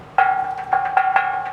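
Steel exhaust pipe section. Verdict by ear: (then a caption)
Empty. A steel exhaust pipet/resonator section under a Honda CR-V is tapped four times, each tap giving a bright metallic ring at about 760 Hz that sustains briefly between hits. The hollow ring shows this section is empty and normal, unlike the clogged muffler.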